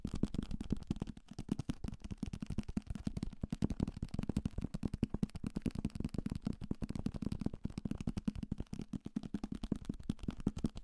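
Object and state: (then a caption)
Paperback book. A solid paperback novel, held close to the microphone, is tapped fast and hard with fingertips and nails on its cover and page edges. The result is a dense, continuous stream of short, dry, dull taps with a low, papery thump around 230 Hz and almost no ring or bright top.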